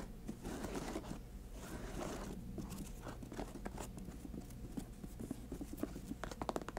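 Long acrylic nails tap and scratch the glossy patent leather upper and white laces of a grey and white high-top sneaker, hollow and empty, resting on a table. Quiet, steady scratchy rustling fills the clip, with sharper, more distinct short taps toward the end.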